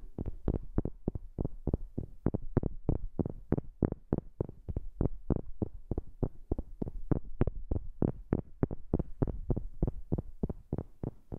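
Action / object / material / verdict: tap / wooden object / wood / none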